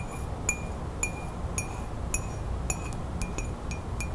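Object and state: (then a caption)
Ceramic mug. Long nails tap the outside of a hollow, printed ceramic coffee mug held close up, making ten bright, short clinks. Each clink has a high ringing tone near 2.4 kHz over a low background rumble.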